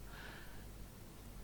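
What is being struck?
Nothing is struck.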